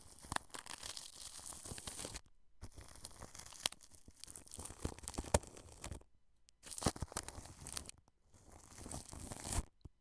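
A wide, flat paintbrush sweeps across plastic cling film wrapped over a microphone. It makes close, crinkly, scratchy rustling with a bright hiss and soft low thumps. The brushing comes in several long passes separated by brief silences.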